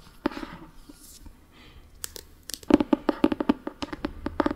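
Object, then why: Paperback book with paper cover. Fingernails scratch and tap the spine and orange paper cover of a solid Harry Potter paperback book. Soft papery scratching and brushing come first, followed by a quick run of dry, clicky taps with a dull, hollow knock that stops at once without ringing.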